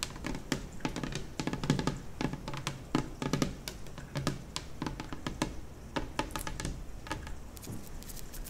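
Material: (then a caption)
Laminate. Long nails and fingertips tap and scratch across a large, solid, white glossy laminate kitchen table top. Quick, dry clicks and taps come in uneven bursts over a soft, continuous scratching, with each tap dying away almost at once. Most of the weight sits low, with a thin bright edge on the sharper nail clicks.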